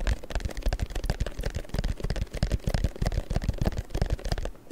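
A long, thin printed paper strip is held taut while fingers tap and rub it. The result is a steady stream of quick, irregular soft taps with dull, low thumps underneath. Light papery crackle and scratching run throughout.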